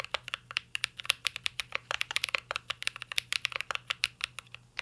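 A mint-green mechanical keyboard with plastic keycaps and a metal case, a Cyberboard R3, is typed on continuously with the fingertips. About thirty short, bright, clacky key taps come in quick, uneven succession, each dying away almost instantly over a faint low hum.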